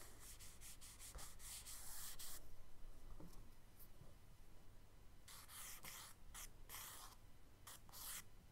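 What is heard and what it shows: Long strokes of a charcoal stick scrape across a kraft paper sketchbook page, drawing radiating light rays, while a hand brushes and rubs over the paper. Bright, dry scratching comes in rapid bursts at the start and again near the end, with softer rubbing in between over a steady low hum. The sound stays quiet throughout.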